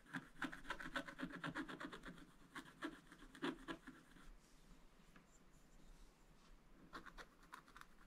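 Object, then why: Wax-coated scratch-art paper scratched with a wooden stylus. A wooden stylus scratches lines into the black wax coating of a thin scratch-art paper page in a spiral book. Quick, dry scraping strokes come in uneven bursts, fade to a soft rustle midway, then return as a few sharper strokes near the end.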